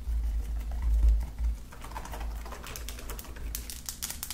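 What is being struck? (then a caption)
Slime with beads and glitter. Long nails and fingertips tap quickly over flat lilac slime with beads and glitter spread on a table, like typing. Quick, irregular soft taps and sticky clicks sit over a steady low rumble, turning into brighter, crisper ticks toward the end.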